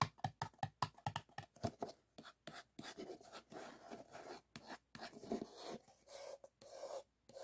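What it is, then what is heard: Paper cup. Fingertips and short nails tap and scratch the sides of a single empty white paper cup, upside down on a wooden table, with another cup sitting untouched nearby. A run of quick, hollow taps with a light papery ring around 1 kHz gives way to longer dry scratching strokes on the thin wall, separated by brief silences.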